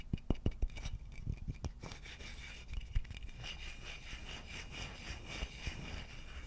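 A hollow wooden vase has its body rubbed and scratched with fingertips and nails. The first couple of seconds bring sharp, separate scratches with low, hollow thumps. These then settle into a steady, bright, rhythmic rubbing over a soft low rumble.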